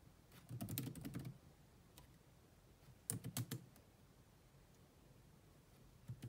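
Long manicured nails and fingertips rapidly tap the dark plastic chiclet keys of a grey laptop with a hollow body. The typing comes in three quick bursts of short, dry clicks with a low, hollow thud and bright clicky edges, separated by quiet pauses.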